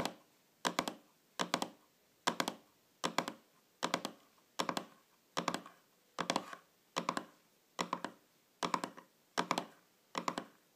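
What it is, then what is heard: Round metal tin lid. Long fingernails tap and scratch the top of a small, shiny, round metal tin or lid lying flat on a table. Quick clusters of two or three sharp, bright clicks repeat roughly every 0.8 seconds across the clip. Each cluster carries a short metallic ring near 1 kHz that dies away almost at once, leaving near-silence between bursts.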